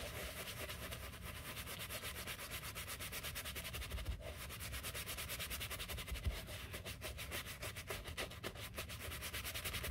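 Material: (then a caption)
Leather. A gloved hand brushes the upper and side of a white leather sneaker back and forth with a wooden-handled horsehair brush. The result is a steady, bright, bristly scrubbing hiss with rhythmic strokes over a low, soft rumble.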